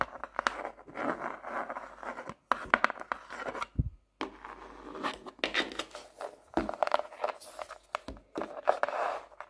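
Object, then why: Hardcover paper notebook. Long manicured nails tap and scratch the blank pages of an open medium hardcover notebook with a solid paper block and a painted landscape cover. The notebook is then closed, with a brief pause and a low soft thump, and its glossy cardboard cover is tapped with nails and fingertips. The result is a quiet, close run of crisp, dry taps and papery scratches, each dying away almost instantly.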